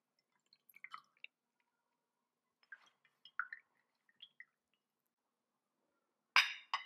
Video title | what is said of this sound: Multi-Sub) 맛있는 참외 샐러드, 토스트와 커피가 있는 일상! | Un verre à boire qui fait du bruit parce qu'il y a une perle quelque part dans le verre.